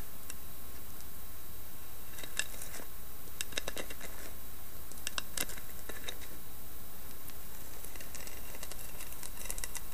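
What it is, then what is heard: Carved wooden lidded box tapped and scratched. Long painted nails tap and scratch the carved lid of a hollow, round carved wooden box with a lid. The result is bursts of soft, bright clicks and scrapes over a steady low hum at an even, quiet level.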